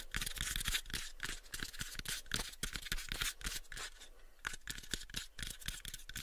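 Fingertips and nails tap and scratch the sides of a small, pale, unfinished, hollow wooden box held in both hands. The result is a quick, irregular run of dry, short knocks with a low hollow thump, mixed with bright, scratchy rasps. Each tap dies away almost at once.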